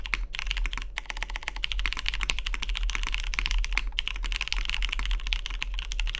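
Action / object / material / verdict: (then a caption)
tap / mechanical keyboard with aluminium case and plastic keycaps / aluminium, plastic / none. Fingertips type continuously on a Matrix 2.0OG Cyan tenkeyless mechanical keyboard with a cyan anodized aluminium case, lubed vintage MX Brown switches and cream plastic keycaps, resting on a deskmat. A rapid, steady stream of short, crisp clacks with a bright edge around 2 kHz dies off almost instantly, over a constant low hum.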